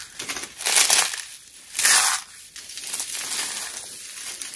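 Handfuls of thin, dry, brittle white soap flakes are squeezed and crushed between both palms and fingers with short nails over a bed of mixed-colour soap shavings. Bright, dry crunching and crinkling rises to two loud bursts, then continues as a softer, steady crackle.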